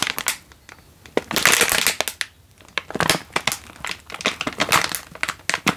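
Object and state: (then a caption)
Instant noodle packet crinkled in plastic wrapper. A single full Indomie instant noodle packet in its crinkly plastic wrapper is held in one hand and squeezed and crinkled with the fingers. It gives sharp, bright crackling and rustling in bursts, with quiet gaps between them and almost no low end.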